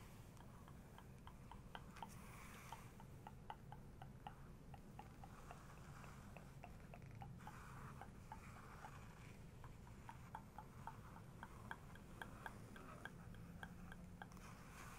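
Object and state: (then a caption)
Paper book page tapped and traced with a fingernail. A long fingernail traces across and taps on a printed photo in a paper photo book, making a steady run of light, crisp clicks with soft scratchy rubbing between them. The sound is very quiet, sitting over a low background rumble.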